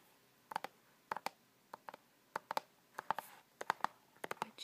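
Fingernails tap and click on a hollow plastic keep case for The Punisher DVD, held close and with clear plastic over the cover art. The clicks are sharp, dry, and quick, coming in pairs and small clusters with a midrange plastic tone around 900 Hz and almost no ring after each one.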